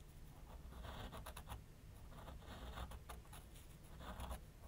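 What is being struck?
Pencil on a paper sheet on a drawing board.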